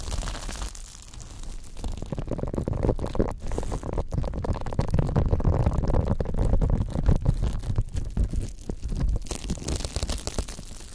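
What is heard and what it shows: A pink silicone scrubber pad with nubbed bristles is scratched and rubbed along its bristle edge by fingertips. The result is a dense, irregular run of soft, low, rumbling scrapes and quick taps that builds in the middle and then fades slightly toward the end.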